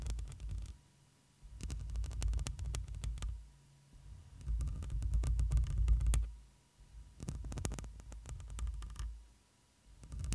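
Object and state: Metal microphone mesh grille.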